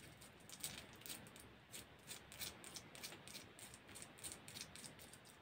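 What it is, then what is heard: Plastic press-on nails. Long white plastic press-on nails, worn on the fingers, are clicked and tapped against each other close to the microphone. Their small, hard, hollow tips make a quiet, irregular stream of bright, dry clicks that die away quickly over a soft hiss.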